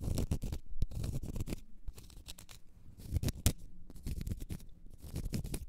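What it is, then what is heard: Cork stopper. Long nails scratch and tap on a large solid cork stopper. The result is a run of dry, close scratching strokes and short, dull taps with a deep, muffled body, brief bright rasps, and no ring after each touch.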